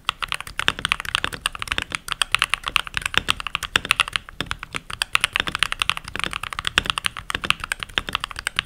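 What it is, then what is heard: Plastic mechanical keyboard. Fingertips with short nails and rings on the fingers type continuously on a full-size backlit mechanical keyboard with pink plastic keycaps. Rapid, steady keystrokes make crisp, bright plastic clacks that stop almost instantly, with very little low end.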